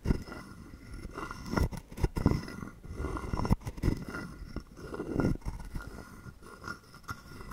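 A palm-sized, hollow carved wooden frog guiro is held in the hand while a wooden stick is scraped along its ridged back to make its croak. The result is a series of dry, rasping, low-heavy scrapes that stop abruptly with no ring, separated by quieter gaps.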